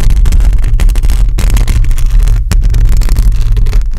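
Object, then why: Metal mesh microphone grille. Long pointed acrylic nails scratch across the top of a hollow metal mesh microphone grille. The result is a loud, continuous, dense low rumble with a steady low hum, broken by quick scraping bursts and bright rasping streaks.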